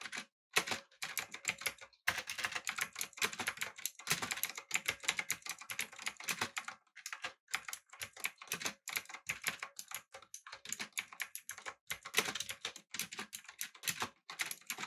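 Fingertips type on a backlit, typewriter-style mechanical keyboard with round plastic keycaps. The result is a close, rapid stream of bright, clacky key clicks in bursts separated by brief pauses. Each click is dry and dies away almost instantly.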